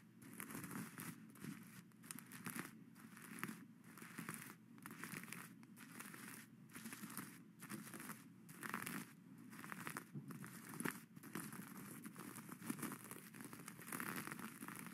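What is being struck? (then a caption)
Sequin-covered fabric hat scraped with plastic claws. Plastic skeleton-hand claws scrape and brush across the flat sequin crown of a witch hat with a satin brim, flipping the sequins so they change color. The sound is a steady, quiet crinkling rustle with repeated bright scratchy strokes rising and falling throughout.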